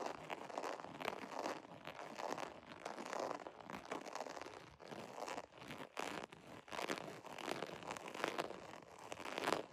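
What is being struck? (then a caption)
Embossed vinyl zipper pouch. Fingernails scratch quickly across the embossed scale texture of a holographic vinyl zipper pouch. The result is a dense, crinkly, crunching rasp, centered in the mids with some bright edges, that surges and dips in uneven bursts throughout.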